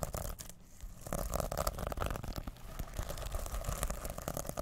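A reversible, plastic sequin-covered fabric pouch is held in both hands while fingertips rub and flip the sequins. The result is a dense, continuous scratchy rustle full of quick, dry clicks that swells and dips in loudness, over a low, rumbly undertone.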